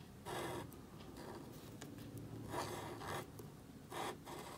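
A calligraphy marker nib rubs and scratches across a small, thin black cardstock card resting on a table while writing. It makes dry, rasping strokes in short bursts with a bright, papery hiss, separated by quieter scratchy passages.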